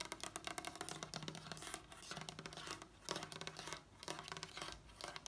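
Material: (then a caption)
Wood. Long acrylic nails on both hands tap fast across a large, solid wooden table top with visible wood grain. Dense runs of quick, dry clicks overlap into a bright, scratchy patter. The taps stay short, with almost no ring, and continue to the end.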